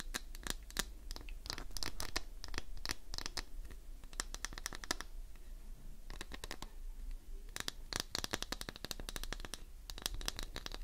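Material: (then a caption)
Glycerin soap. Long nails scratch along the edge of a solid, green, translucent glycerin soap bar. Quick bursts of dry, crisp scratching and clicking arrive in clusters, bright and sharp with almost no ring, with a short lull near the middle. A faint low rumble sits underneath throughout.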